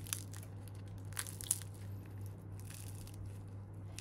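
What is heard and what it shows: Baked layered börek made from yufka pastry sheets is pressed or cut into, giving soft crushing and crunching crackles with a few sharper crisp snaps over a steady low hum. The pastry is crispy outside and soft, well cooked inside.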